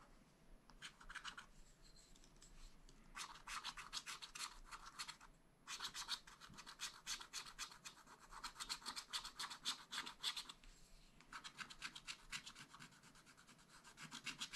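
A wooden stylus scratches strokes around the ornaments on the black-coated sheet of a spiral-bound scratch-art pad. Quick, bright, dry scratching comes in several bursts of rapid strokes, separated by brief pauses. The tone is thin and hissy, with almost no low end.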